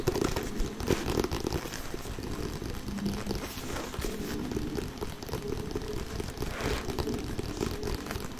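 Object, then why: Inflated synthetic leather soccer ball. Short painted fingernails of both hands tap rapidly, close up, on the synthetic leather panels of an inflated, hollow Adidas Street Glider soccer ball. The result is a dense, continuous patter of quick, dry clicks with a soft, hollow low-mid body and very little brightness. It sounds steady and crinkly throughout.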